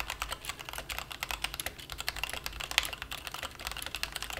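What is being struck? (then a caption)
Plastic mechanical keyboard. Both hands type rapidly with the fingertips on a plastic mechanical keyboard resting on a felt mat. Dense, quiet keystrokes form a fast stream of short, bright clicks that die away almost instantly, with little low-end thump and a peak around 3 kHz.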